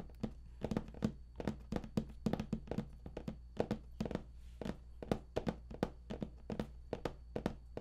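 Fingertips of both hands tap on the top lid of a large StarCraft II Heart of the Swarm collector's edition box made of printed cardboard, hollow and likely holding contents inside. The result is a quick, uneven series of short, dull, hollow thunks with a low, boxy body that stops almost instantly. A faint steady low hum runs underneath.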